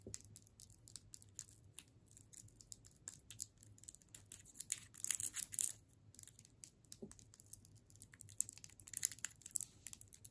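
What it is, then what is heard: Wrapped candy cane. A solid striped candy cane in a plastic wrapper is tapped and scratched with long pointed nails. Quiet, bright crinkling and scratching ticks run throughout, with a denser, louder burst of scratching in the middle and a low steady hum underneath.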